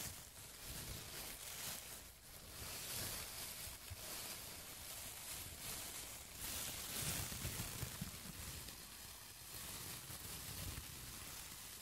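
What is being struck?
Nothing is struck.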